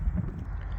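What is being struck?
Nothing is struck.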